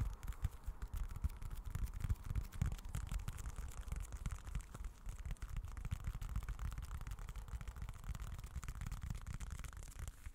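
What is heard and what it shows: A small dark folded leather-look wallet is held close to the microphone and scratched and tapped with fingertips. A steady, dense stream of soft, muffled low thumps and rustling scratches continues throughout, with faint bright crackle above.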